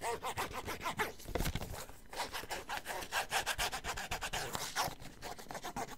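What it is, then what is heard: Cardboard box scratched. Fingertips or nails rub and scratch the surface of a small, hollow, white printed cardboard box (vibrator packaging) held in both hands and moved close to the ear. The result is a steady run of dry, rasping, sawing-like strokes with bright, airy texture and little ring.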